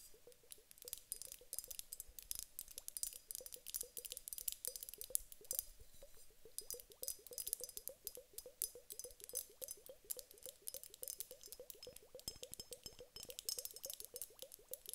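A large clear glass hourglass with two bulbs filled with small gel water beads is held in both hands and tapped with long acrylic nails on the upper bulb. Quick, quiet, bright clicks come in a steady rapid stream for the whole clip, each with a short glassy ring in the mid range and no lasting decay.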